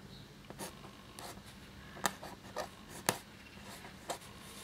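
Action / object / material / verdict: scrape / paper sheet scratched by a quill nib / paper / none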